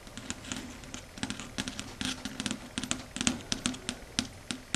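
Long red stiletto nails tap and scratch across a flat, matte, dark grey chalkboard. About two dozen quick, bright clicks and short scratchy strokes come in an irregular rhythm over a faint steady low tone, each one dying away almost at once.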